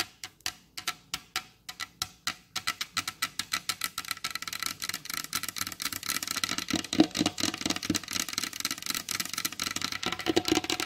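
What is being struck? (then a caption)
Wooden tabletop. Very long blue acrylic nails on both hands tap a large, solid, flat wooden tabletop. Sharp, bright clicks start as spaced single taps, then speed up into a dense, rapid, typing-like flurry that grows slightly louder toward the end.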